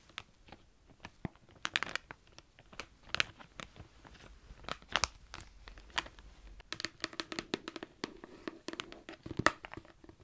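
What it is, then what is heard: Plastic tub of felt-tip markers. A medium cylindrical clear plastic tub full of colourful felt-tip markers is held in both hands and tapped and scratched on its sides with long dark-painted nails. Many quick, bright, crackly clicks and crinkly scrapes come in irregular bursts, each dying away almost at once. Faint low hum sits underneath.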